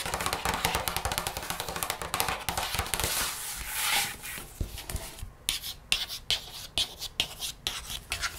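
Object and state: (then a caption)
Hardcover paper picture book. A page of a large open hardcover children's paper picture book, lying on a wooden table, is turned, then long red-painted nails and fingertips trace and scratch across the page. Dense, bright papery scratching fills the first half, swelling into a hiss around three to four seconds. It then breaks into sharper, separated scratches and taps.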